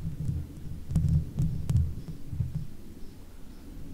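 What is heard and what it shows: Long fake nails on one hand scratch the top of the hollow metal mesh grille of a Blue Yeti microphone. The result is a deep, muffled rumbling scrape in uneven bursts, with a few brief bright ticks over it.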